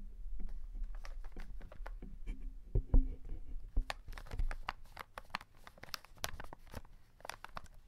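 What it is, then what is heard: Cardboard chocolate box with plastic window. Fingertips rub and tap the plastic window of a full cardboard chocolate box held in hand, making soft crinkling, scratching and quick dry ticks over a low, muffled rumble. A few sharper taps stand out, and the sounds grow brighter and more crackly as the box tilts at the end.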